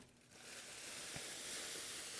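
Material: Nothing is struck.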